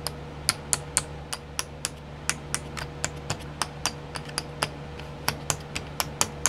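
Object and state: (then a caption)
Plastic sequin pots tapped with fingernails. Long nails tap the lids of twelve small clear plastic pots filled with sequins, set in a pink tray. About 23 sharp, bright, dry clicks come at an uneven pace, each dying away almost at once, over a steady low hum.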